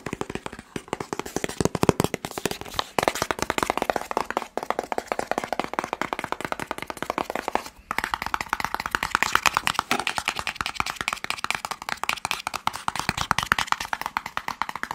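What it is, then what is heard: Cardboard box, hollow. A hollow, elongated white and blue cardboard test-kit box is tapped rapidly with fingertips and nails while it is turned beside the microphone. The result is a dense, continuous stream of dry, clicky taps with a papery mid-range tone and almost no ring, its timbre shifting slightly as the box is rotated.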